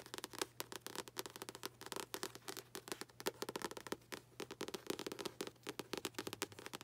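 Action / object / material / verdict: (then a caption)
tap / paperback book with paper cover / paper / none. Long acrylic nails tap rapidly on the front cover and top edge of a paperback book with a paper cover. The result is a dense run of quick, dry, crisp clicks and light crackles with a bright, papery edge and almost no ring.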